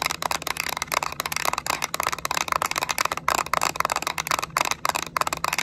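Long acrylic nails rapidly tap and scratch the back shell of a yellow Nintendo Switch Lite, a small hollow hard-plastic handheld held in the hands. The result is a dense stream of dry, bright plastic clicks with scratchy texture between them and no ringing after each tap.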